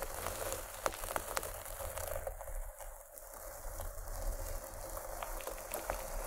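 Long nails of both hands scratch the fabric near one end of a paisley cloth pencil case. A quiet, steady scratchy rustle is broken by scattered sharp little ticks, and it eases slightly in the middle before picking back up.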